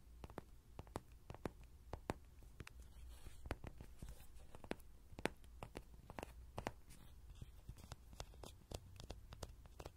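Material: Soft vinyl.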